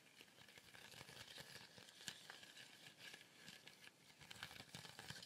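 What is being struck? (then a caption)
Woven fibre basket shaker with wooden base. A small colourful woven fibre shaker with a wooden base is tilted slowly, so the contents inside sizzle and slide. The result is a steady, bright, hissing rustle with faint crackles and a few soft ticks, at low level throughout.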